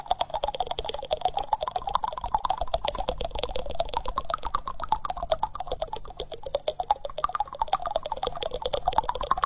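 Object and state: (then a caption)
Wooden spoon. Fingertips and nails tap and scratch the bowl of a solid, reddish-brown wooden spoon held close to the microphone. The result is a steady stream of rapid, irregular, dry clicks over a soft scratching texture with a wavering midrange tone. Each tap dies away almost instantly.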